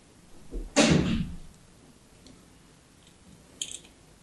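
A fine blade scores a grid pattern into the surface of a solid orange and white striped soap bar held in the hand. After a soft scuff, a loud, gritty scrape bursts in and fades over about half a second. Quiet faint ticks follow, then a short, bright scratch near the end.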